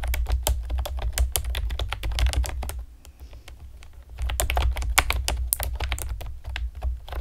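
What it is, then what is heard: Plastic computer keyboard typed on with nails. Long painted nails and fingertips tap rapidly on a pastel plastic typewriter-style computer keyboard with round retro keycaps and hollow keys. Bright, clacky, irregular keystrokes come in quick bursts over a steady low hum. The typing pauses briefly in the middle before resuming.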